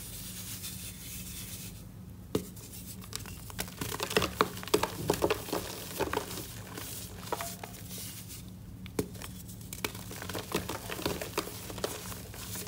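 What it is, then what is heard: Pressed gym chalk block being crumbled. A hand-sized, solid block of reformed, pressed white gym chalk with orange flecks is held over a white container while fingertips with short white-painted nails break it apart, crumbling, scraping and rubbing it into powdery chunks. Sharp, crisp snaps and dry crunches stand out over a steady low hum, with gritty, bright crumbling and powdery rustling between them.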